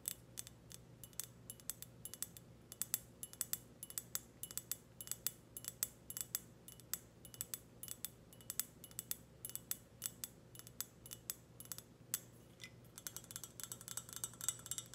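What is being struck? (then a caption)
Glazed ceramic teapot. A hollow, glossy black ceramic teapot is tapped on its lid and body with long red nails. Rapid, bright, dry clicks and clinks ring for only an instant over a faint steady low hum. The taps come in quick irregular bursts throughout.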